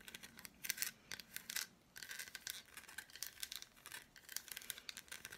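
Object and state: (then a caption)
Milk chocolate bar. Long black nails tap and scratch the squares of an unwrapped, hand-sized solid milk chocolate bar with red fruit bits. Many quick, dry, bright clicks and scrapes follow in irregular bursts, with a short pause near the two-second mark and almost no low end.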